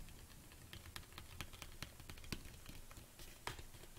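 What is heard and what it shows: Long nails tap quickly on the sides of a large, hollow black plastic protein tub standing on a table. The result is a rapid, uneven patter of short, bright clicks over a soft low hollow thump, with each tap dying away almost at once.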